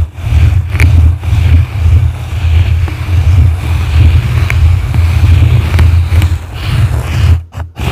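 Blue plastic brushes scratch the sides and top of a yellow foam microphone windscreen. The result is a steady, muffled rumbling scrape, heavy in deep low tones with a faint bright hiss above. It swells and dips as the strokes move, then briefly cuts out near the end.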